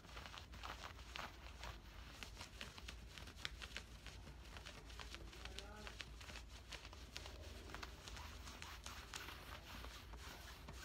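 Both hands' fingertips scratch and grip the woven cotton fabric on the leg and pocket of worn camouflage cargo pants. The result is a quiet, continuous run of short, dry, crackly scratching strokes with a bright, hissy top, over a steady low hum.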